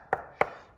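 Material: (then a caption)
Travertine. Two sharp taps on a travertine floor tile, checking for looseness, give short, bright knocks centered in the midrange with little low-end thud and a quick decay. The tile sounds solid.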